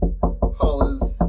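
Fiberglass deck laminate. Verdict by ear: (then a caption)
Solid. Seven dull, low taps on the fiberglass underside of a sailboat's deck inside the anchor locker. The taps are spaced about 0.2 seconds apart, each a short low-frequency thud with brief ringing. This spot sounds solid and well bonded.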